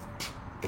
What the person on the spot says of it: sounds like wood but you know it's supposed to be a metal though